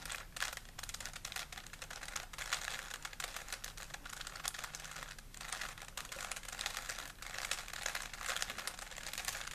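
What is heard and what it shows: A small, solid plastic 3x3 Rubik's cube is held in both hands while fingertips twist its layers. The result is a continuous stream of rapid, bright plastic clicks and clatters with very little low end and only brief pauses.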